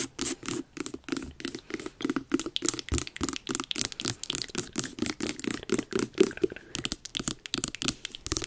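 Long nails scratch and tap the orange rind on the top and front of a medium, hollow carved jack-o'-lantern pumpkin. The result is a rapid, steady series of short, dry scratchy taps, each with a hollow body around 375 Hz and a bright crackly edge that dies away almost at once.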